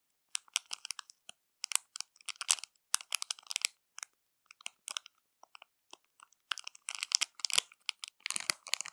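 Long matte nails and fingertips scratch and press a small, flat clear plastic bag with crumpled foil inside. The bag crinkles in quick, irregular bursts of bright, crackly rustling with brief silent gaps between them, and the noise is almost entirely high-pitched.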